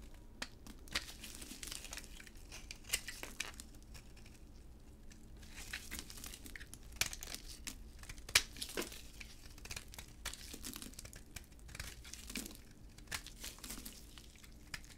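A utility blade shaves flakes off a solid, cream-white, embossed hard dry bar soap held in a gloved hand. The result is a quiet, steady run of crisp, bright crackling and crinkling scrapes, with sharp little snaps scattered throughout.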